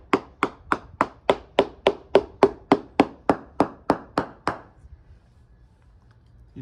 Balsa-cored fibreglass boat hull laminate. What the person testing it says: You notice the real difference in the sound particularly around the outside edges which is where the bullseye crack pattern is and that's where the damage is